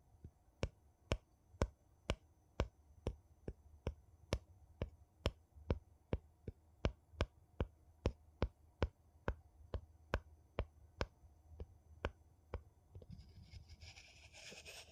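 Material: Metal.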